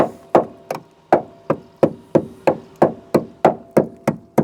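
A tapping stick strikes the steel sill of a barn-find Proton Saga Iswara 13 times in a steady rhythm. Each tap gives a short, hard knock with a faint mid-pitched ring that dies away quickly. The sill sounds solid and is judged to be in good condition.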